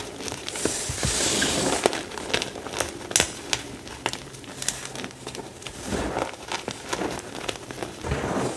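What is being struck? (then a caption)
Pile of crushed gym chalk. Fingertips rake, rub and crush a heap of finely crumbled, dry, powdery pale green-white gym chalk. The result is a steady, gritty rustle broken by many sharp, bright crackles and crunchy snaps that die away instantly.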